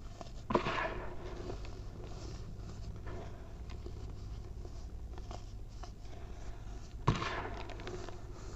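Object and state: Baking soda powder being crumbled.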